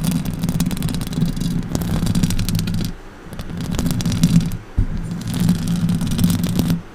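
Long orange acrylic nails scratch the hollow metal mesh grille of a silver Blue Yeti microphone. The result is a dense, rumbling scratch with a low, humming tone and faint bright rasp. It pauses briefly near the middle, and a sharp knock is heard before the scratching resumes.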